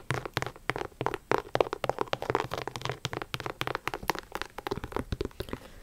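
Long acrylic nails tap rapidly over a hollow pink and black high-top sneaker with a leather/synthetic upper and rubber sole. The result is a dense run of short, dry clicks and light knocks that die away almost instantly, with a faint crinkly texture between taps.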